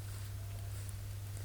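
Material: Nothing is struck.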